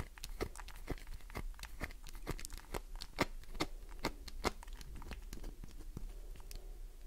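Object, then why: Glycerin soap bar. Fingernails scratch quickly across a solid green glycerin soap bar, sending soap shavings scattering onto the table. A rapid, uneven series of short, dry, crisp clicks and scrapes with bright edges plays over a steady low hum.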